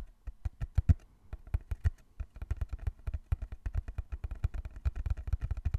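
Fingertips tap rapidly on the sides of a small, closed, hollow brown cardboard box held in both hands. The result is a quick run of short, dull, low thumps with a faint bright click on each, dying away almost at once.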